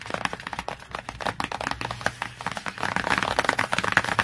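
Long fingernails tap and scratch rapidly across the glossy laminated board cover of a large children's hardcover encyclopedia lying flat on a surface. Crisp, dry clicks come in a quick irregular stream, with a papery scratching texture between them and almost no low end. The taps grow denser and slightly louder toward the end.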